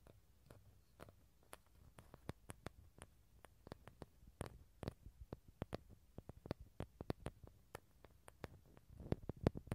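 A small, hollow, halved dried bottle gourd with a tan shell and empty inside is held close while fingertips and nails tap and scratch its outer shell and rim. Quiet, sharp, dry clicks and taps sound in an irregular stream with very short ring and a low hollow body, and a faint scratchy patter builds near the end.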